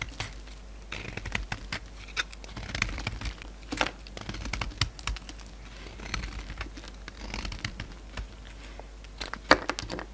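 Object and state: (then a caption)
Bar of soap being scraped. A solid white oval bar of soap with magenta coating remnants is held in the hand and scraped and cut with a metal utility-knife blade, shaving off powdery flakes and chunks. Dry, crinkly scraping and bright, crisp clicks come in quick irregular bursts, with a few sharper cuts standing out over a steady low hum.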